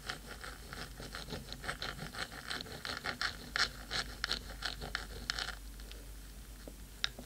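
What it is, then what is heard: Metal microphone housing scratched with nails. Long pointed nails of both hands scratch rapidly across the black metal top of a 3Dio microphone's hollow housing. The result is a quick, uneven run of bright, crisp scraping strokes with very short decay, which thins out and turns sparser near the end.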